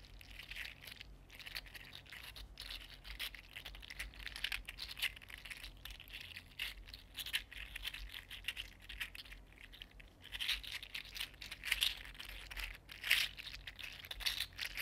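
A small, hollow, green-purple articulated 3D-printed plastic fidget slug is bent and rubbed between fingertips, its segmented body rattling. The result is a steady, dense stream of bright, crisp plastic clicks and scratchy rattles, with a few louder bursts near the end.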